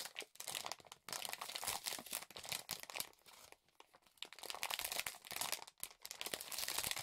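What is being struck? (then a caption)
Thin plastic film over a keyboard. Fingertips press and rub across clear thin plastic film wrapped over a black GK66 split-spacebar mechanical keyboard. The result is dense, bright crinkling and crackling in irregular bursts with brief quiet gaps and almost no low end.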